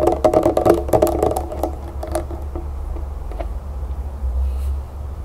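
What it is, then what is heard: Plastic lotion bottle. Long nails quickly tap and scratch the body of a medium white plastic lotion bottle with a pink berry label, held upright with its cap off. A rapid, uneven run of bright, hollow clicks fades into softer, sparser taps and light scratching over a steady low hum.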